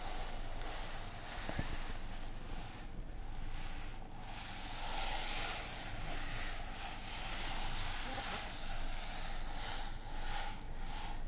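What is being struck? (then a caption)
Container filled with dry couscous. A container filled with dry couscous is shaken, giving a steady, sand-like hissing rustle that swells and fades in waves across the clip. The grains produce a bright, airy texture over a low background rumble, with no distinct separate hits.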